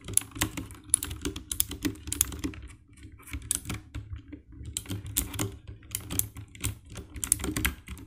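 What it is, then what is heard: Plastic mechanical keyboard. Fingertips type on the keycaps of a compact 60% black plastic mechanical keyboard with RGB backlight. Quick, dry key presses each give a bright click over a low thock, in uneven bursts with a softer lull around the middle of the clip.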